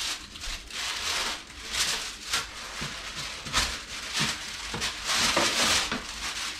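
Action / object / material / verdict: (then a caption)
knock / sourdough bread loaf / bread crust / hollow. A freshly baked sourdough loaf, made from a revived dried starter and just out of the oven, is knocked on, giving repeated dull, hollow low thumps amid a bright, crackly rustle. The hollow sound shows the bread is baked through.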